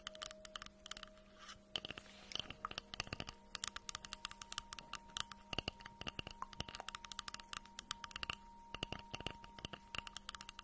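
Long nails tap and scratch on the flat face of a solid, round slice of tree trunk with its bark edge still on, held close to the mic. The result is a rapid, uneven run of dry, crisp clicks and brief scrapes, bright and close, each dying away instantly, over a faint steady low hum.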